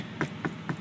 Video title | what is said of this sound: Update and Tour of the 2005 Chevrolet Tahoe Z71 | it's not really that padded. It's kind of hard, actually.